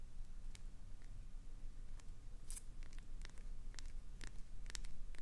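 Long pointed acrylic nails scratch the surface of a clear green solid glycerin soap bar and carve off small shavings. Short, dry, bright scratches and crisp clicks sound at irregular intervals over a steady low hum.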